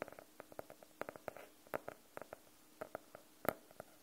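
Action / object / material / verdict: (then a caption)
tap / faux-leather hardcover notebook / faux leather / none. Fingernails tap and lightly scratch across the cover of a closed, solid navy blue faux-leather hardcover notebook. About eighteen short, dry taps land at an uneven pace, each with a hollow midrange knock around 600 Hz and a quick bright click that dies away at once. Soft scratchy rustles fill a few of the gaps.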